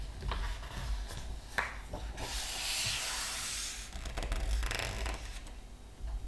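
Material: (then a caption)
Paper. Fingertips rub and press on a glossy paper page of a large open art book, making soft dry scratching and light taps over a low rumble. Then the pages are turned, producing long bright whooshing hisses that swell and fade.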